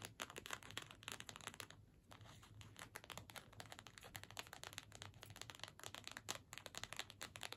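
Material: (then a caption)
Card stock. A small, flat card-stock holiday gift tag with a string loop is held in both hands and scratched and tapped with long nails. The result is a rapid, continuous stream of crisp, dry, papery scratches and light taps, bright and high-pitched, with a brief lull just before the two-second mark.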